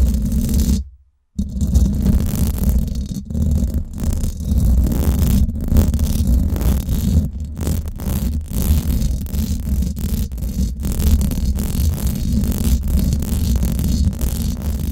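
Long black and glitter acrylic nails and fingertips scratch and rub all around the round, woven steel mesh grille of a Blue Yeti microphone's hollow head. The result is a dense, continuous scratching that comes through as a deep, boomy rumble, with a brief silence just after the start.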